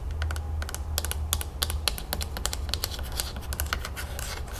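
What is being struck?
Plastic screw cap on a plastic bottle.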